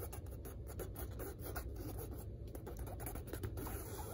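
Long red nails scratch and rub the textured weave of a large, hanging, dark blue (navy) woven fabric curtain. A dense, continuous scratchy rustle with a low, muffled body and quick, brushy strokes stays at a steady level throughout.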